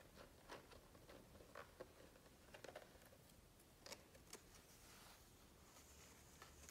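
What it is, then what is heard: Glossy book page tapped. Fingertips tap and rub across the glossy paper pages of an open hardcover book, with the hands resting at the page edges. Soft, short taps and light brushing scrapes come through over a quiet, low background hiss, with a few brighter, crisper contacts mixed in.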